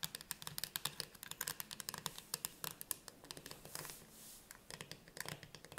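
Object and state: Metal food can tapped and scratched with nails.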